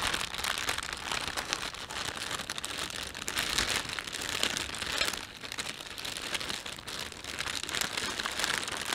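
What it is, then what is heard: Plastic shopping bag being crinkled. Fingertips pinch, rub and crinkle a thin, empty panda-print plastic shopping bag. A steady, dense crackling with many sharp bright crinkles fills the whole clip, mostly in the upper range with little low end, swelling and easing slightly but never stopping.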